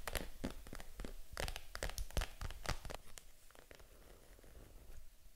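Long acrylic nails tap and scratch the front panel of a small pink vegan-leather Matt & Nat mini handbag, held upright and apparently empty. Quick, irregular clicky taps with soft scratching, fading to quieter scraping toward the end.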